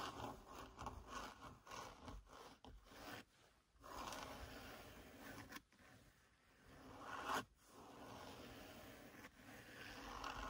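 Long lilac-painted fingernails scratch the black grained, padded faux leather centre-console armrest of a Seat Leon FR car. The result is a series of quiet, dry scraping and rubbing strokes in uneven bursts, with a few brief pauses between passes.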